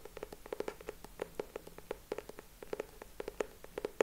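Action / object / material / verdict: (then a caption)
tap / cardboard hardcover notebook / cardboard / none. Fingertips and short nails tap and scratch the purple cardboard cover of a closed hardcover notebook held upright in both hands. It makes a quiet, steady run of quick, dry taps with a hollow mid-pitched knock around 440 Hz, each dying away almost at once, with faint scratchy rustle between them.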